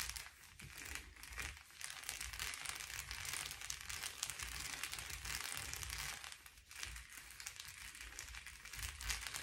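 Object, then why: Foil bubble padded envelope. Fingertips and nails of both hands tap and scratch the bubbles of a blue metallic foil bubble-padded envelope lying flat on a table. The result is a dense, bright, continuous crinkling and scratching texture with quick, dry taps, plus a faint low rumble underneath and brief quieter dips before it resumes.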